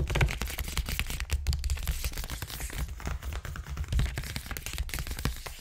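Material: Paper.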